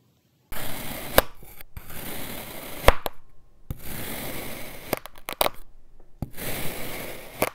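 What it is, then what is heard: Kinetic sand being sliced. An iridescent metal knife slices thin layers off a solid blue kinetic sand dome resting on a white surface. Three separate slicing passes each make a soft, gritty, crumbly hiss with a low rumble, punctuated by sharp bright clicks as the blade moves through.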